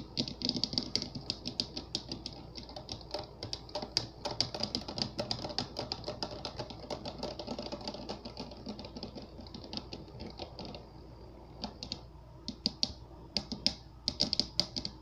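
Fingertips and nails of both hands tap rapidly on the top and sides of a clear, round, water-filled glass globe full of Orbeez that sits on a light-up base. The taps are crisp, bright clicks that stop almost instantly, with a dense, clattering rhythm over a faint low hum. The tapping thins out briefly near the end before picking up again.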